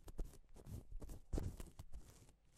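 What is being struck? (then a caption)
Plastic sequin fabric sheet. A gloved hand rubs and sweeps across a flat, reversible pink and silver plastic sequin fabric sheet, flipping the sequins over. The result is a quiet run of soft, scratchy rustles and light clicking swishes with a dull, low-heavy body, rising and falling in uneven strokes.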